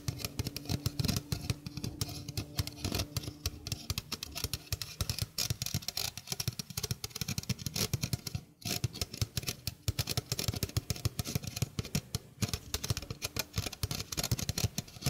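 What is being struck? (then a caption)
Stainless steel mesh sink strainer. A small, hollow stainless steel mesh sink strainer is held in the hand while its mesh is scratched quickly with fingernails. The result is a dense, continuous run of fast, rasping scrapes and tiny metallic clicks with a bright, hissy edge over a heavier low rumble. A brief quiet gap breaks it just past the midpoint.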